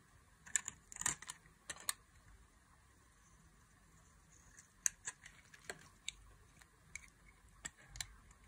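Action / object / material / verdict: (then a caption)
scrape / bar of soap cut with a blade / soap / none. A black-handled blade carves thin curls from a solid, palm-sized oval bar of dry pink soap held in the hand, with the shavings piling up below. Short, dry, bright scraping and cutting clicks come in quick clusters and then sparser single strokes, with almost no low end and quiet pauses between them.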